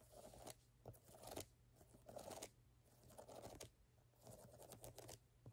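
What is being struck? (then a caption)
Ridged rubber shoe sole. Long fingernails scratch and tap the brown ridged rubber lug outsole of a canvas Converse platform sneaker held in the hand. Irregular bursts of dry, crunchy scraping with a mid-range rasp and bright hiss rise and fall over a steady low hum, with short taps in between.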